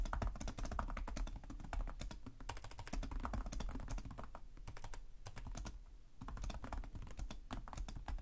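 Both hands type rapidly with short-nailed fingertips on the plastic chiclet keys of a black laptop resting on a desk. A dense run of quick, crisp clicks and taps rides over a low thump, easing off briefly around the middle before picking back up.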